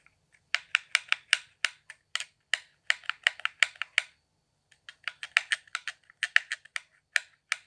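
Fingertips tap the buttons and hollow shell of a handheld, transparent plastic Xbox One controller with blue LEDs. About 27 sharp, dry, bright clicks come in uneven bursts, with a brief pause near the middle. Each click stops instantly with no ringing.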